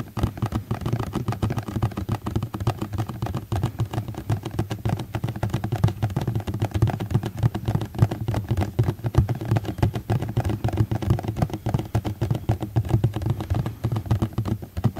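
A plastic container is tapped rapidly and continuously for ASMR, giving a steady stream of short, dull, low-pitched taps centered around 110 Hz. Each tap dies away almost at once, with little high-frequency content.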